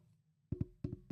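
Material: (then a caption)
Painted metal. A painted metal Stanley tumbler cup is tapped against a microphone five times, producing dull, low knocks with almost no ring, in two quick pairs followed by a single tap. The taps sound deadened, like plastic or wood rather than metal.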